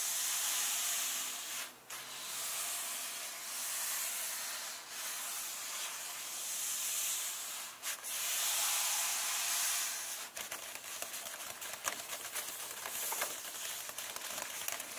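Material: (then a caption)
Paper. Fingertips and long nails slowly rub and scratch across the paper pages of an open illustrated paperback book. Steady, bright, hissy swishing strokes with brief dips between them give way in the last few seconds to sharper, crackly nail scratches, with almost no low end.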